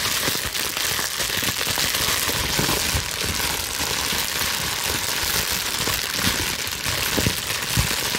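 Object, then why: Plastic bubble wrap sheet. A loosely bunched sheet of clear plastic bubble wrap, held in both hands, is slowly scrunched with long nails. The result is a steady, dense, bright crinkling and crackling throughout, with a few slightly sharper snaps standing out from the texture.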